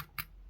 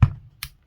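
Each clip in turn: First: Two quiet, short clicks with almost no ring: the dry tick of a plastic pistol slide. Second: Two solid low knocks around 110 Hz with a faint tick between them, from a steel pistol slide.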